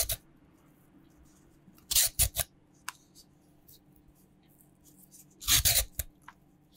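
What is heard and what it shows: A raw, solid purple sweet potato is held in the air and peeled with a green peeler in scraping strokes, with the peels landing on a white cutting board. Short, bright, rasping scrapes come in quick bursts, clustered around two moments, over a faint steady low hum. Each stroke stops abruptly with almost no ring.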